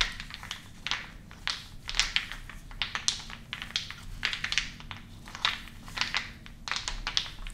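Several medium, solid, unfinished wooden balls are held in both hands over a wooden bowl and rubbed and rolled together with the fingertips. The result is a continuous stream of dry, bright clicks and clacks with soft scraping between them. Each click dies away quickly over a faint low hum.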